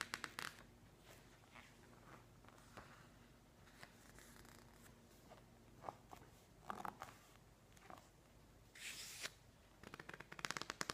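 Hands slowly turn and flick the pages of a thick, open glossy paper magazine resting on a wooden table, with fingertips rubbing across the paper. Soft, papery rustles and bright crinkling swishes rise out of near-silence, and a quick run of sharp, crisp page flicks closes the clip.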